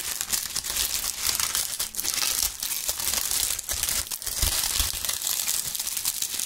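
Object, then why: Maple leaves. Handfuls of dry maple leaves are crushed and crinkled by gloved fingers right next to the microphones. The result is a dense, continuous stream of bright, crisp crackling and rustling, with a few sharper crunches and very little low-end weight.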